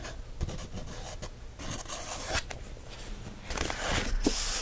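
A wooden stick traces across an open page of a paper coloring book, making soft, uneven scratchy rubs and scrapes. The strokes turn louder and brighter toward the end.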